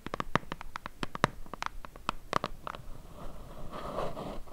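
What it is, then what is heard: Cardboard box. Long acrylic nails gently tap a rapid run of light, hollow clicks on the sides of a small, empty-looking, white printed cardboard tripod box held in both hands. After about three seconds the tapping gives way to a soft, rustling brush of the nails across the box's surface.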